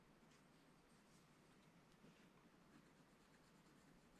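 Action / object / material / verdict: scrape / scratch-art pad, coated card scratched with a wooden stylus / coated card / none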